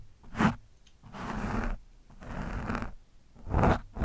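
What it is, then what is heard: Foam microphone windscreen. A screwdriver tip pokes and scratches an orange foam windscreen on a microphone. Short, sharp pokes alternate with longer rough scraping passes, each giving a dense, crackly rustle with a heavy low-end thump from the mic.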